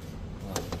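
A plastic body panel near the trunk of a 2025 Toyota GR Yaris is knocked twice, giving two short, dull knocks with a brief low ring over a steady low rumble.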